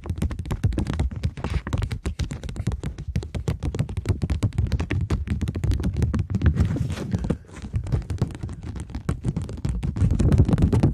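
Long nails tap and scratch a polymer plastic £20 banknote, first held flat and then flexed. Rapid, dense taps land as dull, low thunks with very short decay, mixed with brief scratchy crackles that stay steady over the clip.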